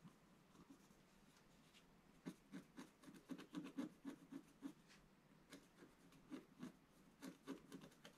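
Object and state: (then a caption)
Scratch art card being scratched. A wooden stylus scratches into the lower right corner of a flat, black-coated scratch art card. Quiet background hiss is broken by twelve short, dry scraping strokes, grouped unevenly with a pause between the clusters. Each stroke has a rough mid-low body and faint bright streaks, and fades almost at once.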